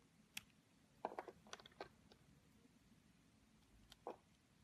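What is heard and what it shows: A metal craft-knife blade carves and scrapes petals into a palm-sized, yellow-and-white bar of solid soap shaped like a rose, held in the hand over a white table, as chips fall off. Quiet, crisp scraping and clicking bursts come in a scattered cluster, with short, dry, bright edges and almost no ring.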